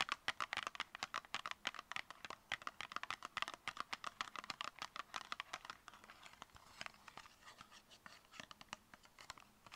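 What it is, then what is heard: Cardboard cosmetic box. Long painted nails rapidly tap and scratch a hollow, tall, narrow copper-colored cardboard cosmetic product box, about 10 cm, held in both hands. The result is a dense run of quick, dry, crisp clicks with short scratchy strokes and almost no low end. The tapping grows softer and sparser over the last few seconds.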